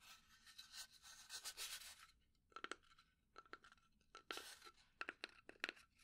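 A fingernail scratches and taps on the sides and lid of a small hollow pine wood box. About two seconds of soft, bright, rasping scratching are followed by a series of crisp, quick taps with a light hollow ring. The taps come singly and in short bursts, all at a quiet level.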